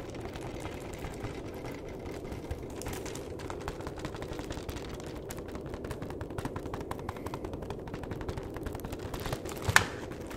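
A flat, hollow printed cardboard box of chocolates, apparently sealed in film, is tapped and scratched with the fingertips and nails. Dense, rapid dry clicks and crinkly scratching run over a low hollow rumble, with a sharper, brighter tap near the end.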